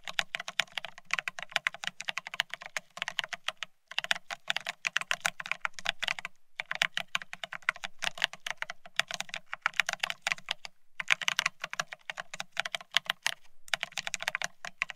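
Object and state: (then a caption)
Plastic ergonomic keyboard being typed on. Both hands type fast on the plastic-looking keycaps of a full-size beige split ergonomic keyboard. The result is dense bursts of sharp, bright clicky taps separated by brief pauses, with a faint low thud under each stretch and almost no ring after each keystroke.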